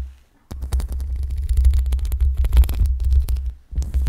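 Long pink acrylic nails scratch the metal mesh grille of a black USB microphone with both hands. After a half-second of near silence, a deep, booming rumble with dense crackling scrapes runs steadily, briefly drops out near the end, and then resumes.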